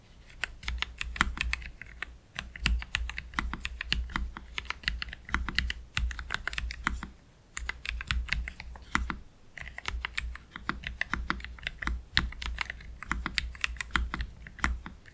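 Both hands slowly type with their fingertips on a black Keychron K3 Pro low-profile mechanical keyboard with Gateron Red low-profile switches and plastic keycaps, resting on a desk mat. Short, bright clacks with a soft low thump under each keystroke come in steady bursts, with brief pauses near 2 and 7 seconds.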